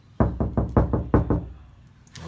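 Seven quick knuckle knocks on an untreated steel car driver door with no sound-deadening mat give loud, hollow, boomy thuds. The low thumps each die away fast with a brief resonant ring. The bare door sounds hollow and loud.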